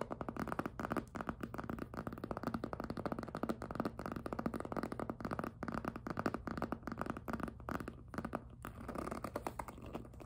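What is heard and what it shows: A small hollow pink jelly PVC handbag is held up while fingertips and nails grip and rub its squeaky plastic surface. Dense, rapid squeaks and rubbing crackles run continuously with a low hum underneath, easing into softer scratching near the end.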